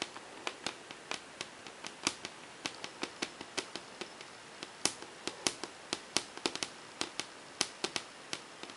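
Long painted fingernails on a hand wearing rings tap quickly on a large, flat, glossy whiteboard panel, the hand staying in one place. About 37 short, crisp, bright clicks come in an uneven rhythm, each dying away almost instantly over a faint quiet background.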